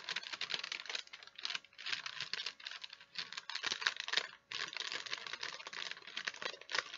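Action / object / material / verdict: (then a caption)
tap / folded wax paper sheet / wax paper / none. A thin folded sheet of wax paper is held in both hands while long nails tap and scratch it and fingers crinkle it. Dense, bright crackling and quick clicky taps run almost continuously, with a brief lull near the middle, and there is no low rumble.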